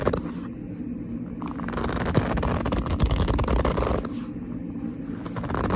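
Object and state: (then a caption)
Leather purse being gripped and rubbed. Fingers with long nails grip and rub the surface of a hollow black leather handbag held close up. A run of dense, squeaky scraping and crinkling sounds, weighted toward low tones, grows busier and louder through the middle of the clip before easing back.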